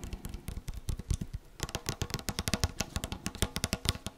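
Long manicured nails tap and scratch the side of a tall, hand-sized blue-and-white yogurt cup, likely plastic with a printed label, held in one hand; it looks hollow with a sealed lid and may be full. A rapid run of short, dry taps gives dull low thuds with crisp bright clicks and almost no ring, softer and scratchier at first, then sharper and denser after about one and a half seconds.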